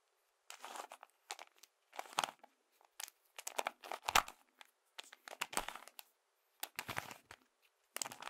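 A hand-sized hollow cube built from colored plastic toy bricks, with moving parts, is held in both hands and twisted and clicked with the fingertips. Short bursts of dry, crinkly plastic clicking and rattling come in irregular clusters separated by brief silences. The sound is bright and crisp with almost no low end and little ring.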